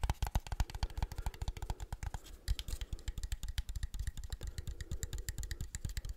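Fingertips tap rapidly and continuously on a small, hollow Agfa Isoly film camera with a leatherette plastic body and chrome metal top, held in both hands. The taps are soft, dull, low knocks that die out almost instantly, with a light bright click on some of them.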